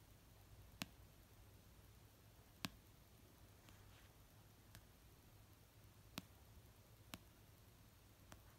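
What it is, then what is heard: Paperback book tapped with fingernails. Fingertips with painted nails slowly tap an orange paperback novel of solid paper resting on a blanket. Sparse, sharp, very short clicks arrive at uneven intervals, each bright and dry with no ring, over a quiet low background hiss.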